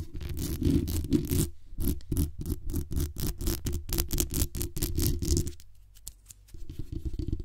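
Long acrylic nails rapidly scratch and tap the metal mesh grille and body of a black condenser microphone. The result is a fast, uneven run of deep, boomy thuds with bright, scratchy tops. The sound briefly drops to a quiet, faint scraping near the end before the tapping picks up again.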